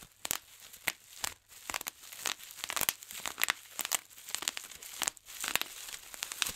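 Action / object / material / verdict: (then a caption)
scrape / plastic bubble wrap / plastic / none. A large clear sheet of plastic bubble wrap with air-filled bubbles is pinched by fingertips, popping bubbles one after another. Sharp, bright pops ring out over continuous crinkling of the sheet.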